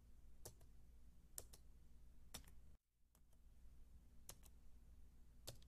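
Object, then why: Plastic keys on an aluminium keyboard base. Fingertips with long dark-painted nails type on a solid, white low-profile Apple keyboard with plastic keys on a thin aluminium base, about 28 cm wide. About nine short, bright key clicks, some in quick pairs, sound over a steady low hum. The background briefly drops out near the middle.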